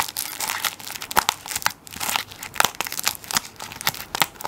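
A plastic-wrapped tissue paper roll is held sideways while fingertips and nails scratch the plastic film over its end. Bright, dry crinkling and scratching continues throughout, broken by sharp crackles and clicks with almost no low end.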